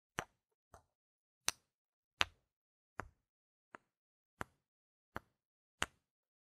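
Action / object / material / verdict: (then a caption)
knock / small solid plastic game tokens / plastic / none. Two small, solid, round plastic game gem tokens, held by fingers with long red nails, are knocked together edge to face nine times at uneven intervals. Each knock is a sharp, bright plastic click that dies away almost instantly, leaving silence between hits.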